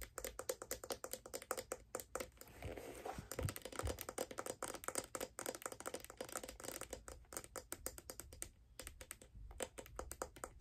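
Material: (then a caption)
Leather, metal. Long dark nails tap quickly on a figure skate, striking its brown leather sole and the silver metal plate that holds the steel blade. The result is a dense stream of short, dry clicks with little ring, broken near the third second by a brief rougher, smeared stretch before the rapid tapping resumes.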